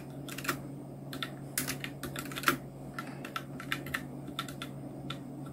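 Continuous two-handed fingertip typing on a full-size black Nubwo Illution NK-70 mechanical keyboard with Outemu Red switches, round plastic keycaps and blue backlight. Quick, short, bright plastic key taps come in uneven bursts, some strokes louder than others. A steady low hum sits underneath throughout.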